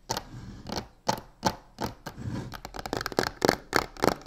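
Long nails quickly scratch and tap the sides and corner of a medium hollow box covered in black embossed crocodile-texture faux leather. Dry, short taps and rasping scrapes come in an uneven, speeding run, each with a bright papery edge and almost no ring.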